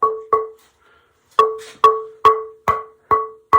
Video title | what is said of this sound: The G Style Begins | thing ringing rings like a bell